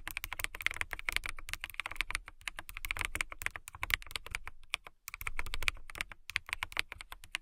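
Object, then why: Plastic mechanical keyboard. Long nails type and tap on a backlit transparent plastic mechanical keyboard with a clear acrylic case and clear plastic keycaps. The result is a fast, steady stream of short, bright clicks and clacks with almost no ring, plus a soft low thump under the keystrokes and brief pauses between bursts.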